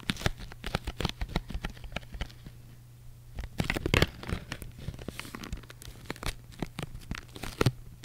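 Long white acrylic nails rapidly tap and scratch the flat faces of a small, closed, printed cardboard box of Polaroid instant film held upright in both hands. The result is a quick run of dry, papery clicks and scrapes with brief pauses, over a steady low hum.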